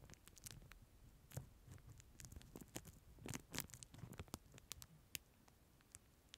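Fingertips tap, scratch and crinkle a clear plastic film sleeve holding a disposable plastic spoon, held close to the microphone. The sound is a quiet, irregular patter of quick taps and bright crinkly crackles over soft low thumps, each click dying away almost instantly.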